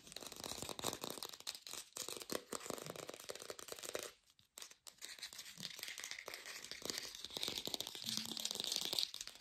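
An artificial plastic pear is tapped fast with a lo-fi sound, giving a dense run of short, dry, crackly clicks that are mostly bright with little low end. The tapping pauses briefly just past the middle, then resumes at a steady pace to the end.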